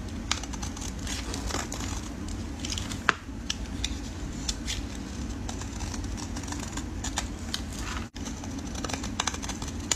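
A solid red soap bar held in gloved fingers is shaved into curls with a metal utility blade. Quick, crisp scraping crackles and clicks repeat over a steady low rumble, with one sharper snap near three seconds. The sound cuts out briefly just after eight seconds before the shaving resumes.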